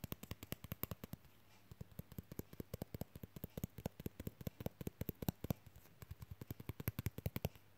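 Fingernails rapidly tap and scratch a flat, thin, card-sized rectangular lenticular 3D plastic mermaid fridge magnet. The result is a fast run of dozens of dry, clicky taps, each with a low thump and a bright tick that dies away instantly. The taps come in quick bursts with short pauses between them.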